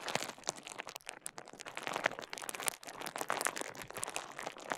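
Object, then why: Plastic bubble wrap roll. Fingers twist, squeeze and crinkle a small rolled piece of clear plastic bubble wrap held close to the microphone. The result is a dense, continuous stream of bright crinkles and sharp little crackles with almost no low end, rising and falling in intensity throughout.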